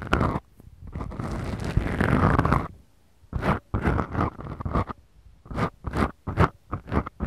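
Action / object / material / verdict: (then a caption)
scrape / small foam microphone windscreens / foam / none. Long fingernails on both hands scratch two small black foam microphone windscreens on a Tascam recorder. A sustained, rough, low-heavy scratching runs for a couple of seconds, then breaks into a series of short, crunchy scrapes separated by brief silences.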